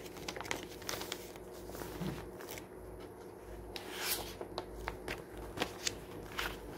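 A thick glossy-paper magazine lies open on a wooden table over a solid stack of pages, and a fingertip grips and crumples a page near the spine. Soft, continuous crinkling is broken by many sharp, bright crackles that cut off almost instantly, over a low steady hum.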